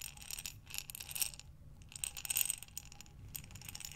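A glass mason jar with a metal lid, full of buttons, is tilted end to end in both hands so the buttons tumble inside. The result is soft, bright clicking and rattling in uneven waves, with a few sharper glassy ticks over a faint low rumble.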